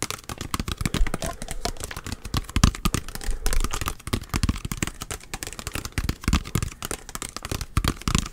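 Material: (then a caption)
Plastic. A small clear plastic bottle with a blue cap, partly filled with orange liquid, is held in one hand and tapped rapidly with the fingertips and nails of the other hand. Dense, fast, clicky taps blend with dull low thumps, and each tap dies away almost instantly, keeping a busy, crackling rhythm throughout.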